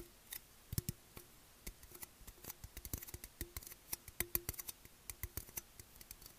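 Fingertips and nails tap and scratch the side and bottom rim of a tall, hollow, black Monster Energy aluminium can held in the hands. About thirty short, dry ticks and clicks follow in an irregular rhythm, each with a bright, crisp edge and a faint thin metallic ring that dies almost instantly. The sound stays quiet and close.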